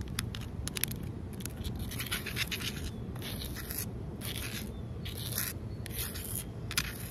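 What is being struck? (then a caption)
Concrete ledge. Long nails scratch and tap a large, solid outdoor concrete ledge, making rough, bright scraping bursts with short, dry clicks over a steady low rumble.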